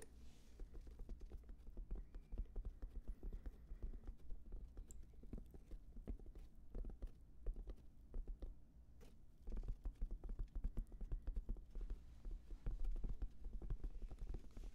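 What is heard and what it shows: A black, oval, hand-span-sized headphone case with a hollow, fabric-covered EVA-type hard shell, contents not visible, is held up to the microphone and tapped and scratched with fingertips and short nails. The result is a dense, irregular stream of soft, dull, deep thuds and light scratches that die away almost instantly, with almost no brightness.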